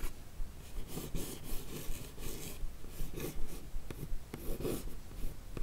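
A single long nail traces and scratches across the smooth lid of a closed, hollow, yellow rigid paper-covered cardboard Look Fantastic beauty box. The result is soft, uneven scratchy strokes with bright, airy hiss in short bursts over a low, dull rumble, in a quiet, close setting.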